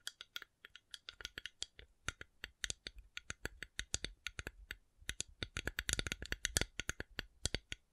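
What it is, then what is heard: Coconut shell. A coconut shell is tapped in a rapid, irregular series of short, dry clicks, speeding into a dense flurry near the end. Each tap is bright and crisp with a faint low thump, and dies away almost instantly.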